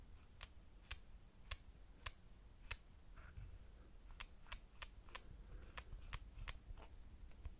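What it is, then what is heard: Metal camera lens barrel. Fingertips on both sides tap and click the ridged aperture ring of a solid, silver metal lens barrel with a lens hood on a compact camera. About twelve sharp, bright clicks stand apart, each dying away almost instantly over a low, steady rumble.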